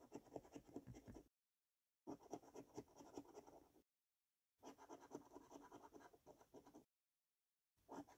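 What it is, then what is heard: Paper scratchcard being scratched. A coin edge scratches the silver latex panels of a thin "5 Years For You" scratchcard resting on a wooden table while a hand holds the card steady. Quick, gritty rasping comes in four bursts separated by short silences, with a papery, mid-range texture.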